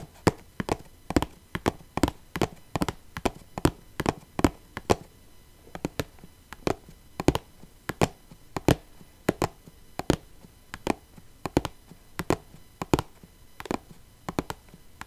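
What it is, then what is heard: Plastic box of rhinestones. A small clear plastic box full of rhinestones is held in the hand while its top is tapped with long painted nails. A steady series of short, dry taps with a hollow low-mid tone and a brief click sounds over a quiet background, each dying away almost at once.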